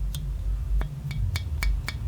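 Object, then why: Microphone wire mesh grille. Six light taps on the wire mesh grille surrounding the capsule of a Rode NT-USB USB microphone give short, bright clicks that die away at once over a low rumble. The grille is light metal, not plastic.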